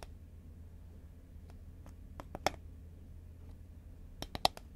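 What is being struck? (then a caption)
Cardboard snack tube. A green Pringles cardboard tube lying horizontally is tapped with long nails, giving four short, sharp clicks heard as two quick pairs with a dry, bright tick and a mid tone around 760 Hz. The clicks die out almost instantly over a quiet, steady low hum.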